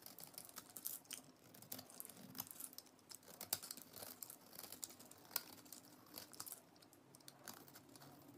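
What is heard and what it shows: A utility knife blade shaves the face of a solid orange bar of soap with a pink interior, held in the hand, scraping and cutting off crumbly shavings. The sound is a quiet, steady run of short, crisp, bright scrapes and crackles with almost no low end, and each one stops at once with no ring.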